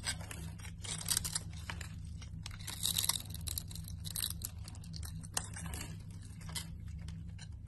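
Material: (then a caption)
Soap. A solid red bar of soap is held in the hand while a metal cutter blade scrapes and slices a scored grid pattern into its surface, sending crumbs falling. The result is a dense run of crisp, bright scraping and crackling cuts with sharp little snaps, over a steady low hum.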